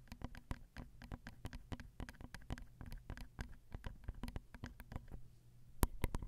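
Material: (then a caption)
Metal. A long nail taps rapidly on the capsule top of a Zoom recorder's XY microphone, striking its small hollow metal grilles. The result is a quick, quiet run of short, dry, low-heavy taps with a faint hollow knock, and a few sharper, louder taps near the end.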